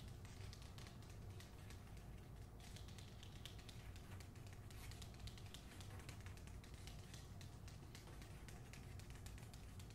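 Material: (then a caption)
Cardboard, paper. Long nails tap and scratch the back cover of a hardcover book, The Hacienda, in its paper dust jacket. A steady run of quick, soft clicks and scrapes sits over a constant low hum.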